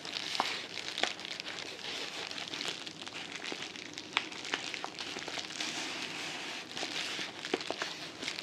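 A medium yellow kraft-paper padded mailing envelope, apparently filled, is held up in both hands, squeezed and crinkled with the fingertips, then lowered toward the table at the end. It makes a steady, bright crinkling rustle with frequent sharp crackles and snaps throughout, with almost no low end.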